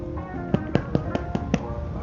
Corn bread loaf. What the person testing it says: tap the bottom so you can hear it's done she said that sound sounds like pom pom